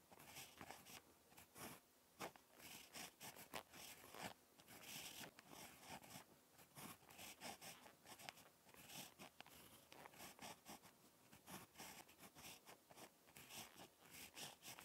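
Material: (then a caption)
Paper. A ballpoint pen tip scratches across a lined spiral notebook page while handwriting, making quiet, bright scratchy strokes in short bursts with brief pauses between them. The sound is soft and mostly high, with little low end.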